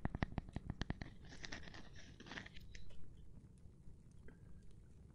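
A gloved hand taps on a cork board, starting with a quick run of about eight dull, low, short taps. These give way to a softer, scratchy rustling and then a few faint, scattered taps that fade into quiet.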